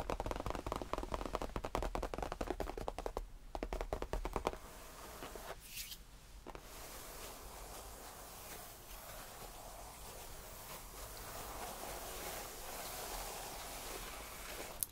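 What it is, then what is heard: Faux leather tufted bench. Fingertips of both hands tap quickly on the top of a cream faux leather tufted bench, making a rapid, uneven run of soft, dull taps for about four and a half seconds. The tapping then gives way to quieter, steady light scratching across the same surface for the rest of the clip.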